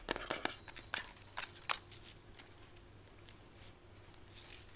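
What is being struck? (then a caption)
Plastic camera body. Long white almond-shaped nails tap and scratch a mint-green Instax Mini instant camera with a hollow plastic body. Sharp, bright clicks come in a quick burst over the first two seconds, then give way to a softer, continuous scratching hiss with a faint low hum underneath.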